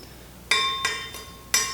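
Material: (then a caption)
Steel. A new steel FALKENWALD multi-material circular saw blade, just freed of its protective plastic, is struck four times and gives bright, high clinking rings that sustain between strikes. The clear ring marks the blade as good-quality steel.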